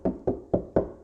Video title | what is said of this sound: Better audio & reduced noise! How to sound deaden & treat outer vehicle door skin | You can hear how this has kind of a hollow sound. It sounds kind of weak and flimsy.